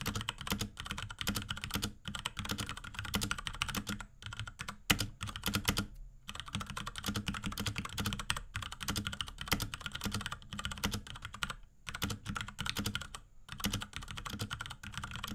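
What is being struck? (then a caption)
Plastic mechanical keyboard. A small pink Akko X Ducky 3084 mechanical keyboard with Cherry MX Brown switches, plastic keycaps and a plastic case is typed on rapidly with the fingertips of both hands. Dense, bright plastic clacks with a low thock run almost continuously, broken only by a few brief pauses.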